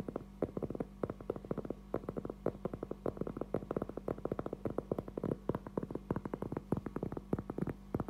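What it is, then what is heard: Cork trivet board. A round, flat, thin, solid cork trivet board about 20 cm across is held in both hands and tapped and scratched with fingertips and nails. The result is a rapid stream of short, dull, dry taps with almost no ring, interspersed with brief scratching. A faint steady low hum sits beneath them.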